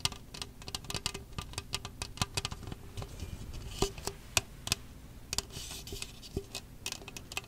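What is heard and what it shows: Long acrylic nails tap and scratch along the ridged sides of an empty, hollow red plastic disposable party cup (Solo-style, about 12 cm tall) held in both hands close to the mic. Quick, dry, bright clicks patter irregularly over a soft scratchy rustle, each tap dying away almost instantly.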